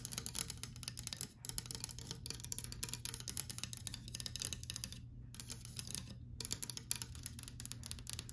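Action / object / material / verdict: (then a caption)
tap / painted wooden louvered closet door / wood / none. Fingernails tap and run across the slat edges of a white painted louvered closet door, making dense, crisp clicking with brief pauses near 5 and 6 seconds. A steady low hum runs underneath throughout.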